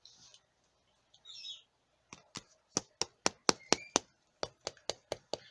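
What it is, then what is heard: Hard, crunchy baked crumble topping. An old Victorian steel knife, plain steel rather than stainless, taps the top of a freshly baked apple crumble in a quick, uneven series of sharp, dry clicks with a bright, crunchy edge. Each tap dies away at once. The topping sounds hard and crunchy like shortbread, showing it is baked through.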